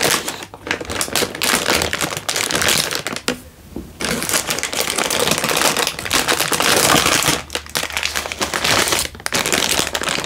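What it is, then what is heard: Plastic instant noodle packet. A hand-sized, sealed plastic-film instant noodle packet, full with a dry noodle brick inside, is held in one hand and squeezed and crinkled with the thumb and fingertips over an open cardboard box. Dense, bright crackling crinkles run almost continuously, with a brief quiet gap near the one-third mark and short dips later on.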